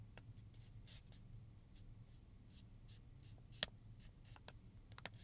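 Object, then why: Metallized plastic zip pouch. Fingertips and nails slowly scratch and rub across a flat, medium-sized silver metallized plastic zip pouch holding plastic combs as it lies on a table. Soft, bright crinkly scrapes come and go over a low steady hum, with one sharp tick standing out midway and a few lighter ones near the end.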